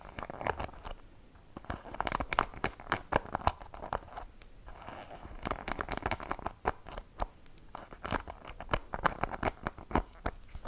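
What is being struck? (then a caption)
Wooden-pin hairbrush in a rubber cushion. Fingertips and long painted nails scratch and flick across the wooden pins of a light wooden hairbrush, the pins set in a rubber cushion and held by hand in front of the microphone. Dense bursts of dry, crackly clicks and scratches come in rapid clusters, with brief quieter lulls between them. Each flick is sharp and very short, with no ring afterward.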